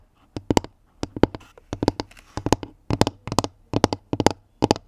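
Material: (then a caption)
Wood. Long nails tap on the round, flat pine-wood top of a pink woven basket lid that is hollow beneath. Quick, dry taps come in short bursts with brief pauses between them. Each tap is crisp and dies out almost at once, with a slightly hollow, woody tone.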